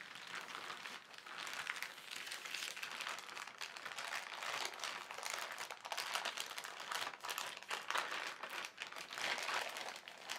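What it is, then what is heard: Plastic carrier bag being crinkled. A flat hand slowly presses and rubs a large, thin white plastic carrier bag printed with black lettering. It makes a steady, bright crinkling with soft rustling swells and almost no low end. The sound continues throughout with no voice.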